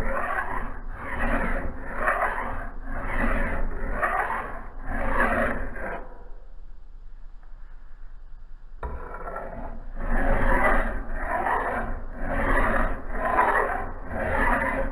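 A steel file is stroked by hand across the bevel of a solid steel axe head held in a vise with a blue cloth. It makes a steady run of rhythmic, gritty rasping strokes with a bright metallic hiss. After a few seconds of quieter pause, the strokes resume at the same pace.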